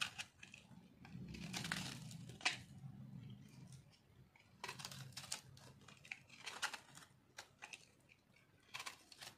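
A hand-sized chunk of solid white dry bar soap is held in one hand and scraped and cut with a metal blade over a pile of soap shavings. Crunchy, crinkly flaking comes in short bursts, bright and dry with little low end. The bursts separate into many quick scraping cuts.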